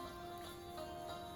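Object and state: Nothing is struck.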